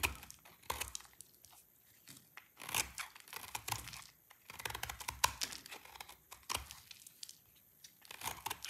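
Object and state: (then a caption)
Dry soap bar scraped with a blade. A utility knife blade scrapes a solid, dry green soap bar held in the hand. Irregular bursts of crisp, bright scraping and crumbling sound come in quick clusters separated by brief quiet gaps. The sound has very little low end and dies away immediately after each stroke.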